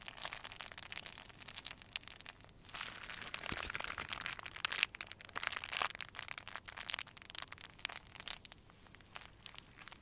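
A small crumpled ball of clear plastic film is held between both hands and squeezed and crinkled with the fingertips, with a string of fairy lights nearby. It makes a steady stream of bright, dry crinkling and crackling with almost no low end. Denser, louder bursts come in the middle before the crinkling thins out to quieter ticks.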